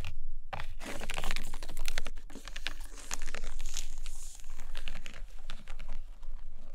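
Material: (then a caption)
Paper. Long dark nails scratch along the side page edges and covers of a stack of hardcover paper books resting on a carpet. Steady, dense scratchy rustling with quick crisp clicks runs throughout, over a faint low hum.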